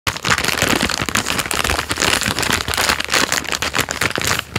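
A hand-sized Jammie Dodgers biscuit roll, full of biscuits and wrapped in crinkly plastic film, is held in the hand and crinkled and squeezed with fingertips and thumb close to the microphone. The result is a dense, continuous stream of bright, sharp crackles and rustles with little low end.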